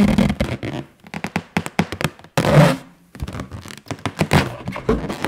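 An inflated 9-inch yellow latex balloon, hollow and air-filled, is held in one hand and tapped and scratched with long nails and fingertips. The result is a quick run of hollow, low thunks and taps mixed with brief scratchy rubbing on the latex, including a longer swell of scratching midway.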